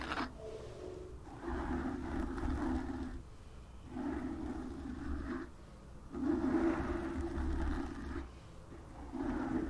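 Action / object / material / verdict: scrape / foam microphone windscreen / foam / none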